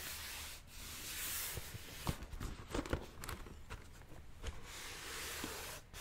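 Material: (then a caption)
Cardboard. Fingertips and nails rub and scratch the printed lid of a hollow cardboard red and white Nike shoe box held in both hands. A steady, bright, papery rubbing hiss fills the clip over a low hum, broken in the middle by a run of sharper, dry scratch clicks before settling back into soft rubbing.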